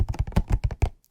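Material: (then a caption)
Cardboard. Fingers tap on a hollow box holding homemade brownies, producing a quick series of soft, low, hollow taps and thunks that die away almost instantly. The box gives a pleasing tapping sound.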